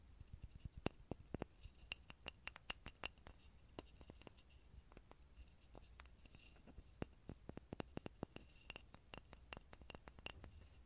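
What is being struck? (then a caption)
Small grooved pine wood block. A small solid grooved pine wood block sits near a mini microphone and is tapped and scratched with fingertips and nails. Many short, dry clicks and taps are heard, each with a bright top and no ring, over a low, quiet rumble.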